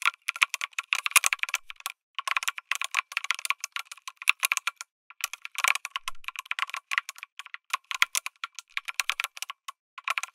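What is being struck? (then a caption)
Mechanical keyboard with aluminum case and plastic keycaps. Fingertips type steadily on a lit mechanical keyboard with an aluminum case and plastic keycaps. The result is a fast stream of crisp, bright clicks and clacks with almost no low end and no ring, broken by a few short pauses.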